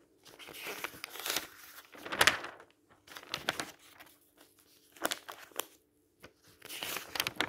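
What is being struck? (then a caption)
Thin printed paper flyer. A hand grips and flips the pages of a thin printed paper store flyer, dark blue with yellow price circles, lying on a table. Bursts of bright, papery rustling and crinkling come with each page turn, separated by brief pauses, over a faint steady low hum.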